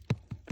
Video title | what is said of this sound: #itoangmatindi #daminglaman #part1 #highlights #yuotubeshortvideo #farming #yutubeshorts | tiyak may laman pa yan dahil ng iba ang tunog niyan